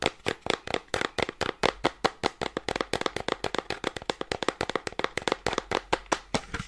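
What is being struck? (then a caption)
Small cardboard box. A small, hollow cream cardboard gift box with a window cutout is held in one hand and tapped and scratched quickly with long dark-painted nails. About 40 rapid, dry, hollow taps sound around 520 Hz, with little low end, bright scratchy edges and almost no ring between hits.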